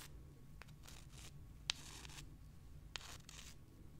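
Long dark nails scratch the rough surfaces of two small, pale, solid limestone rocks, and the rocks are rubbed against each other. Soft, bright, rasping scrapes come in uneven bursts over a faint low rumble, with a few sharp, brief clicks that stand out and stop almost instantly.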